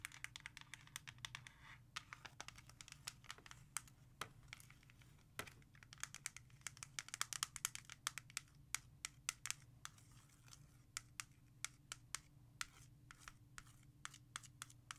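A single plastic CD jewel case, first lying flat and then held with its back showing, is tapped and traced on with long nails. Many quick, bright clicking taps rise over a soft scratchy rustle, with a steady low hum underneath.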